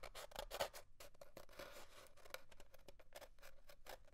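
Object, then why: Cardboard paper towel tube. Fingernails scratch and rub the surface of an empty, hollow cardboard paper towel tube as it is held and rolled on a wooden desk. The result is a quick run of dry, bristly scratching strokes with a hollow mid-range resonance.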